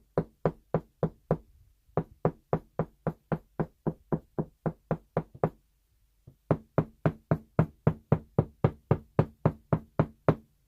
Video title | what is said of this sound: 工具を使わず「壁の中の木の位置」を調べる方法【賃貸物件の方は気をつけて】 | ที่ซึ่งมีต้นไม้อยู่ในกำแพงเสียงที่ไม่สะท้อน(เสียงแข็ง)